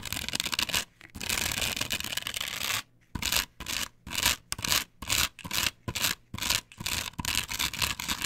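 Long pointed nails on clawed hands scratch across a flat, perforated plastic stencil template glued to a wooden board. A dry, bright rasping runs in long continuous strokes for the first few seconds, then breaks into a quick series of short, separate scratching bursts with brief silences between them.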